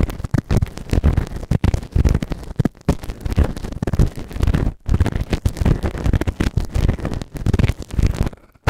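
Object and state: Silicone ear microphone being scraped.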